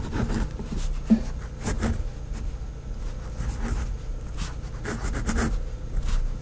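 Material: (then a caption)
Paper. A pink felt-tip fineliner pen, held by a hand with long painted nails, writes on a flat, thin sheet of white lined notebook paper on a pad. Soft scratching and gliding strokes come in bursts over a steady low hum, with one sharper tick near the start.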